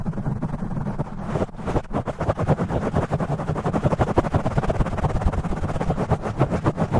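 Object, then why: Foam microphone windscreen. A black foam windscreen on a studio microphone, soft and porous, is scratched and tapped fast by the fingertips and nails of both hands, with the audio sped up to double speed. The result is a dense, rapid stream of muffled, bassy thumps and scratchy rustles, heavy in the low end with almost no bright content, each hit dying away almost instantly.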